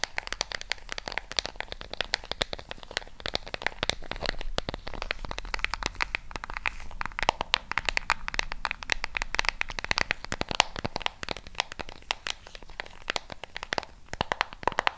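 Long pink nails tap and scratch across the rubbery coloured buttons and casing of a small, flat plastic LED remote control held in a hand next to a mini microphone. A dense, steady stream of sharp, dry clicks is mixed with scratchy rasps, bright and crisp with almost no ring after each tap.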